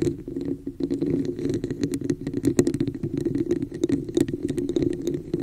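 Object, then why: Textured plastic cup. Long nails tap and scratch the outer surface of a hollow red textured plastic cup held over the microphone. Rapid, dense clicks and scratchy strokes ride on a hollow, boomy resonance around 355 Hz, with bright ticks from the nail tips. The cup gives the sound a muffled, enclosed tone.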